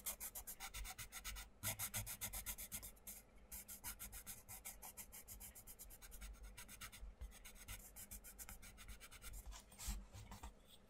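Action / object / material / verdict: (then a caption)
scrape / wooden coloured pencil on a paper book page / paper / none. A wooden coloured pencil tip is rubbed back and forth on the paper page of a flat, open paperback colouring book lying on a wooden table, with fingers holding the page down. It makes a quiet, steady run of quick, bright, scratchy strokes with a soft low rumble underneath, each stroke fading almost at once.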